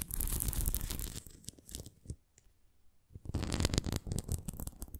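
A thin, translucent red plastic flying disc about 25 cm across, with a hollow ring and a spoked centre covered in small bumps, is held on its side and scratched and tapped with long painted nails. Dense, crackly scratching and rapid tapping fill the first two seconds, fade to near silence for about a second, then return just as busy and bright until the end.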